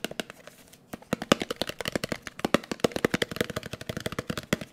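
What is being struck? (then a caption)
Small round metal cream tin. A closed, round blue metal Nivea cream tin, held in the hand, is tapped quickly with the fingertips. About thirty rapid, dry taps follow one another, each with a hollow metallic ping near 230 Hz and a bright click on top. The sound dies almost at once after each strike.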